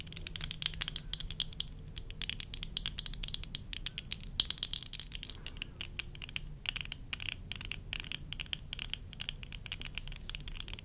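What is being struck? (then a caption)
Plastic eyeglasses. Long nails tap rapidly on the lenses and frame of worn tortoiseshell plastic eyeglasses, producing a dense run of sharp, bright clicks centered around 3.2 kHz. Each tap dies almost instantly, and the frame gives a slight rattle. A low rumble sits steadily underneath.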